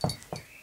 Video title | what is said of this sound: Summer Nights (+ bla bla + ootd) | quand je tape du pied ça fait gling gling parce qu'il y a des grelot sur la cheville